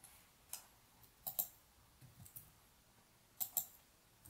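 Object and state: Plastic computer mouse clicking.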